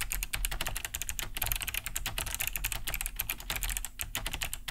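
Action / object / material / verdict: tap / plastic mechanical keyboard / plastic / none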